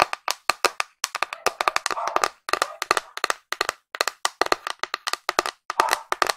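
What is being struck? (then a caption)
Painted wooden box. A flat, pink, painted wooden box with a printed figure on its lid is held in both hands and tapped quickly on its hollow body with long nails. About 38 sharp, dry clicks come in fast clusters with brief pauses between them, each carrying a hollow midrange knock around 1.2 kHz and a bright edge. Each click dies away almost instantly.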